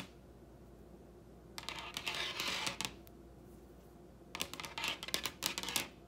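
Long red nails tap and lightly scratch a large solid wooden table top in two bursts of quick, bright clicking and scraping, separated by a quiet pause. Each tap is short and dry, with almost no ring and little low end.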